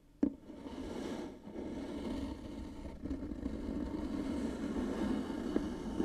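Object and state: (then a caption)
Grooved wooden box being scratched. Long nails scratch slowly down along the grooves of a light, likely hollow wooden box. A sharp tap opens the clip, followed by a steady, raspy scraping with a warm midrange body and little bright content.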